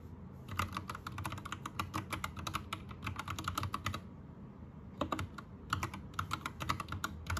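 Both hands type rapidly with their fingertips on an Anne Pro 2 60% mechanical keyboard with plastic keycaps and a rainbow backlight. Quick bright, clacky keystrokes run in dense bursts over a low, steady rumble. There is a brief pause near the middle before the typing picks up again.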